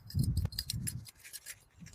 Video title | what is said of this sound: Charcoal sound lesson! | Kind of sounds like ceramic